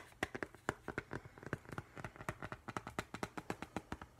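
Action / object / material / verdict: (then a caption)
tap / glass-fronted picture frame / glass / none. Fingertips and nails tap rapidly on the glass front of a framed octopus print, held close. A quick, uneven run of 29 short, dry clicks, each with a faint glassy tick and almost no ring.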